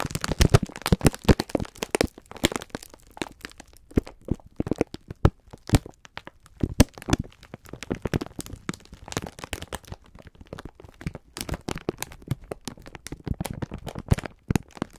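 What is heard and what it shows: Fingertips rub and squeeze a full, clear plastic-film package of sponge scourers. Dense, sharp crinkling and crackling snaps fill the whole clip, with a dull low body under the brief bright edges.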